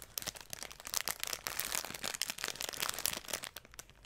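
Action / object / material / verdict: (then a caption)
scrape / dried straw bundle in cellophane wrap / straw, cellophane / none. A large bundle of dried grass or broom straw, partly wrapped in clear cellophane, is held beside a microphone, and its stems are brushed and crinkled with long nails and fingertips. The result is a dense, bright crackling and rustling with many quick, sharp crinkles and almost no low end.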